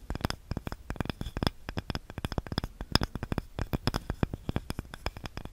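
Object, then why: Small wooden cutting board. A small, light, solid wooden cutting board with a handle is scratched and tapped with long nails. The result is a rapid, uneven run of short, dry clicks and taps with almost no ring. The sound is weighted low, with faint bright edges on the sharper taps.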